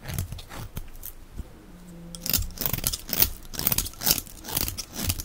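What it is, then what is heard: Dry bar soap shaved with a blade. A box-cutter blade scrapes and shaves the surface of a solid, dry, oval white-and-teal striped Alviero bar of soap held in the hand. Irregular bursts of dry, crunchy scraping follow one another, with bright, gritty edges and short, dead stops. A quieter pause near the start is followed by a denser run of shaving strokes.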